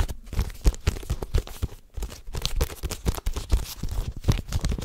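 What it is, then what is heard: Paperback book. A medium-sized paperback book, possibly a manga, with a glossy green and white cover is held in both hands close to the microphone while fingertips tap, scratch and riffle its pages and cover. The result is a dense run of soft, low-heavy papery taps and crinkly scratching with brief tearing-like rustles.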